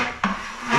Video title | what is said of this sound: Pose des nourrices pour les salles de bain - Ep 89 | comme ça ça sonne pas le trop le creux partout